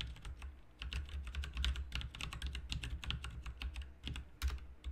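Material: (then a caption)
Plastic. Fingertips of both hands type continuously on a full-size backlit plastic mechanical RGB computer keyboard, its plastic keycaps set in a hollow plastic and metal case. Rapid, bright clicking taps ring briefly over a steady low hum.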